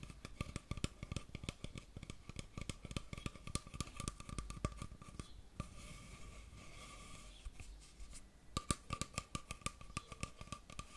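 Long fingernails tap and scratch a hollow, medium-sized white plastic shampoo bottle labelled "men" with a black cap, held close to a microphone. Quick, sharp, dry taps come first, then give way around the middle to a softer, steady scratching hiss before the tapping returns. A faint steady tone and a low hum sit underneath throughout.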